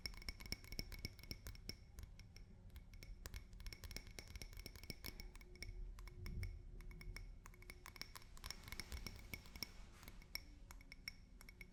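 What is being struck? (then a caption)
Glass drinking glass. A drinking glass is tapped with fingers and nails in a quick, irregular series of light taps. Each tap gives a short, bright clink with a high glassy ring that fades almost at once. The taps sit over a quiet, steady low rumble.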